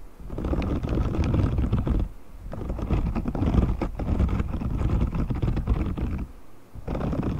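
Fingertips scratch and flick across the dense, short, spiky bristles of a hand-sized, thin, flexible grey silicone cleaning glove held up away from the mic. The result is a steady, muffled, low-heavy rustling and crackling made of many quick soft scrapes, in long bursts broken by two brief quieter pauses.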